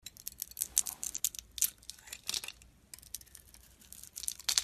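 A metal blade peels and scrapes strips from a solid oval soap bar with a pink outer layer and white inside, held in hand. The sound is a run of quick, dry, crisp scrapes and crackles that are bright and airy, with almost no low end. Each stroke ends abruptly, with no ring.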